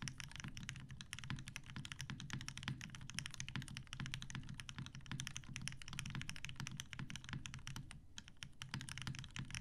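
A TGR Jane V2 mechanical keyboard with 63.5g Tealios switches, cream and grey PBT plastic keycaps, and a dark grey metal case sits on a desk mat and is typed on with the fingertips of both hands. A steady, rapid stream of short, deep keystrokes carries most of its weight in the low end, with bright clicky tops. Each press dies away almost instantly.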